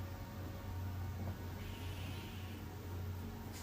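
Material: Nothing is struck.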